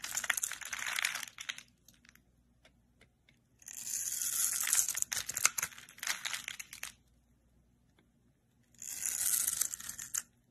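A solid, palm-sized green rectangular bar of soap is held in the hand and scraped and shaved with a metal utility-knife blade. Three bursts of dense, crisp, bright crunching and crinkling are heard, separated by quiet pauses.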